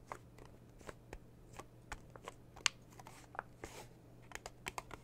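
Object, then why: Small metal tin with a metal lid. Long blue nails tap and scratch the printed metal lid of a small red metal tea tin, then a hand lifts and holds the tin. A quiet series of sharp, bright clicks and brief scratchy rustles sounds over a steady low hum. Each tap dies away almost at once.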